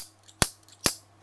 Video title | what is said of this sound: Mototec Polyflex MT-P01 Polymer Motorcycle Phone Bracket (ขาจับโทรศัพท์ติดมอเตอร์ไซค์) #mototec | ผมเคาะให้ดูเป็นเหล็กนะเนี่ยเห็นมั้ยเสียง มันเป็นอลูมิเนียมนะครับ